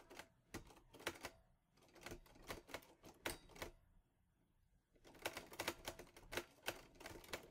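Fingertips type on the keys of a teal metal Olivetti Lettera 22 portable typewriter. Sharp, bright clacks come in quick bursts, pause for about a second, then resume in a faster run. Each strike decays quickly with a brief metallic ring.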